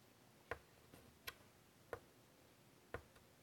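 White chalk taps and scratches in short strokes as a hand draws on a large, flat chalkboard set in a wooden frame. Four sharp, dry taps stand out at irregular intervals, each with a brief bright click, and fainter scratchy touches fall between them over a quiet background.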